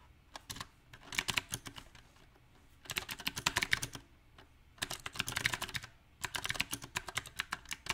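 A small 68-key backlit mechanical keyboard with round typewriter-style plastic keycaps on a silver metal plate is typed on with the fingertips of both hands. Four uneven bursts of rapid, bright, clicky keystrokes are separated by short quiet pauses. Each keystroke is sharp and dies away almost instantly.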